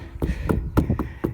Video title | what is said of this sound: Slow Start to Spring | what a difference it's you can hear it it's not like you're knocking on a brick wall